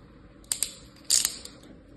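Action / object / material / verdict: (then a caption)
scrape / kinetic sand in a plastic tray / sand / none. A fingertip and a thin tool trace lines through a flat layer of tan kinetic sand pressed into a light green plastic tray with cookie-cutter shapes, scratching and cutting the surface. Short, bright, gritty scrapes come in two bursts, with a longer, louder scratch in the middle, over a faint quiet background.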